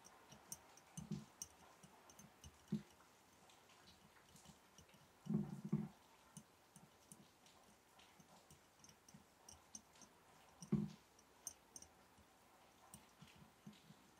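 A glass mason jar holding match sticks is tapped gently, producing quiet, dry ticks with a low, dull knock around 200 Hz that fade quickly. The light taps come steadily throughout, with a few firmer clusters standing out, including a brief flurry in the middle and another near the end.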